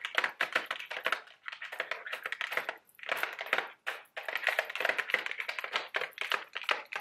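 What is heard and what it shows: A small, hollow Mike & Ike Buttered Popcorn cardboard candy box, apparently full of candy, is held in both hands and tapped and clicked with long, sharp acrylic nails. The result is a rapid stream of dry, crisp taps and clicks centered around 2 kHz with bright edges and no low end. They come in quick bursts separated by brief pauses.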